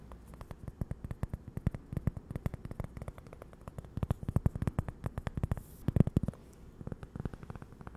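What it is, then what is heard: Cork coaster. A small, thin, solid toast-slice-shaped cork coaster printed "GiGi" is held up in both hands and tapped and scratched with long acrylic nails. Dozens of rapid, soft, dull taps come in uneven bursts, muffled and low with almost no high end. Each tap dies instantly with no ring, under a faint scratchy rustle.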